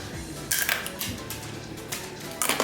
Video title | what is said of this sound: I WENT VEGAN FOR A DAY! | Is it crunchy? Is it as crunchy as normal pasta? Yes, it is.